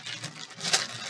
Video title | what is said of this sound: Home Activity with Teacher Patty, Focus: Language-Listening/Sound Game | you want them to remember the sound the change makes in the bag